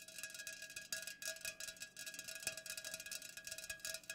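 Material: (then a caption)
Aluminum. Long nails fast-tap the sides of an unopened, full Pepsi aluminum can standing upright. A rapid, continuous run of bright, clicky metallic taps with a faint ringing tone near 2.5 kHz. Each tap dies away almost at once, and the sound is quiet with almost no low end.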